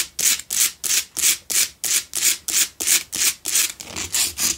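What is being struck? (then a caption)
Rock salt block candle holder. Long nails scratch the rough face and sides of a lit pink Himalayan salt block double candle holder made of solid salt, producing rapid, regular rasping strokes about three per second. Each stroke is a bright, airy scrape with almost no low end, swelling and fading quickly.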